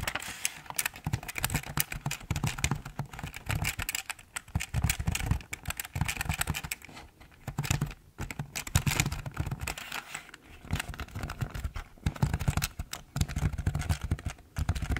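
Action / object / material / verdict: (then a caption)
tap / plastic computer keyboard / plastic / none. A hand reaches over the top of a full-size, hollow black plastic Logitech keyboard and taps the keys with its fingertips. Rapid bursts of hollow, low, thocky clacks with a bright click on top come in quick runs separated by short pauses. Each keystroke dies away almost at once.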